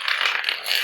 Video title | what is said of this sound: Shalex - Stickit - Floor Tile Repair | You can hear that hollow sound. So what's happened is that tile has actually popped away from the adhesive.